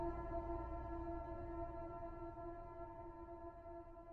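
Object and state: Nothing is struck.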